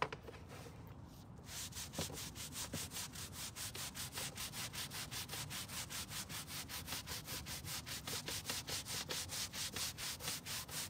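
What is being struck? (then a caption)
Carpet car floor mat scrubbed with a bristle brush. A green-bristled hand brush scrubs a long dark grey carpet rear car floor mat, wet with cleaner, on a white folding table. After a brief quieter start, about 33 steady back-and-forth strokes give a bright, hissing rasp that repeats at a regular rhythm.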